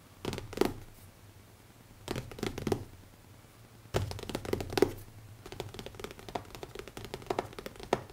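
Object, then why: Leather-covered hardcover notebook. Fingertips tap rapidly on the cover of a closed black leather hardcover notebook with an elastic band and a solid stack of pages, lying on a wooden table. The taps are soft, dull thunks with very short decay, coming in quick bursts near the start, around two seconds and at four seconds, then running steadily to the end.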